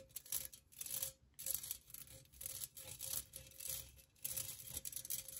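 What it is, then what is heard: Perforated metal pencil cup. Long nails tap and scratch the sides of a hollow, empty, hand-sized pink perforated metal pencil cup with floral cutouts. The result is bursts of bright, hissy scraping and light clicking that rise and fall in uneven waves, over a faint steady hum near 550 Hz.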